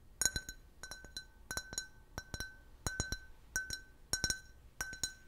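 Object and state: Empty can-shaped beer glass.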